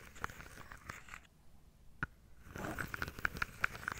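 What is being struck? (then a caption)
Wooden dominoes in a carved wooden box. Long nails and fingertips tap and scratch the tops of wooden dominoes packed into a carved wooden tray. Dry, crunchy scratching gives way to a near-silent pause broken by a single sharp click. A final stretch of scraping is punctuated by quick, bright, clicky taps that die away instantly.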